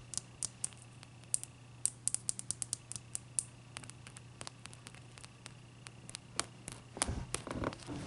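Long dark-purple nails tap and scratch the sides of a large, clear, solid ice cube with trapped bubbles, standing on a white towel. Irregular, sharp, bright clicks ring briefly over a quiet, steady low hum. Near the end the taps give way to a denser, rougher scratching.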